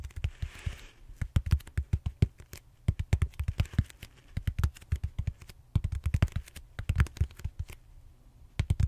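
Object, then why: Foam roller. Fingertips and short nails tap and scratch the textured surface of a large purple solid styrofoam foam roller held horizontally. Dozens of quick, dull, low thumps come in uneven bursts and die away almost instantly. Soft scratchy rustles sit between them near the start and midway.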